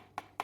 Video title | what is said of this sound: Manette NS009S pour Nintendo Switch de chez aliexpress | ça sonne pas creux